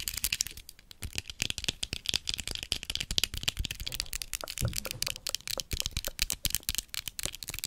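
A large, hollow, white plastic skeleton spider prop, held in both hands, is tapped and scratched with long acrylic nails. Dozens of quick, dry, bright clicks and taps tumble together in an irregular, rattling stream, with light scratchy texture between them and almost no ring after each hit.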